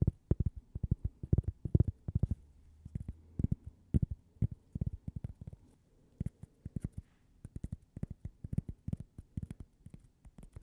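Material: Cork.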